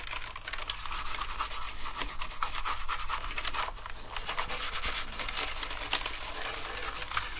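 A toothbrush scrubs along the edges and keys of a dirty black plastic gaming keyboard during cleaning. The sound is a steady, dense, bristly scratching and rubbing with a bright hiss and occasional sharper scrapes. A faint, constant low hum runs underneath.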